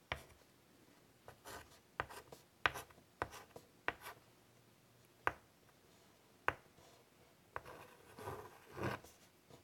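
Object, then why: Chalk stick on a wood-framed chalkboard. A white chalk stick draws scratchy strokes across a large, flat, wood-framed chalkboard. Sharp taps mark the start of each stroke, then brief bright scrapes and softer rubbing follow in a quiet space. A longer, denser scratching passage comes near the end.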